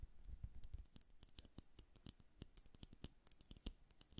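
Long nails tap the bulb of a liquid-filled glass bubble hourglass held horizontally. The result is a quick, irregular run of quiet, bright glassy clicks that die away almost instantly, with soft low thuds underneath.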